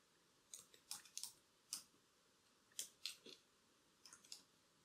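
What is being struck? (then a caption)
Laptop keyboard with plastic keys. Very long, curved black acrylic nails type and tap on the plastic keys of a laptop keyboard with a silver body, and the wearer has bracelets on. Quiet, crisp, bright clicks come in irregular small clusters, each dying away almost at once, against a faint steady background hiss.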